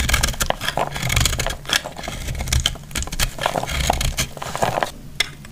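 A metal blade cuts and scrapes a solid, palm-sized block of dry, recycled, flaky purple-grey soap held in the hand. Dense, dry crackling scrapes and crunches continue throughout, with brief bright clicks and a low rumble underneath as crumbling pieces fall away.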